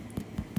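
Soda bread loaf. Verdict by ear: Underbaked.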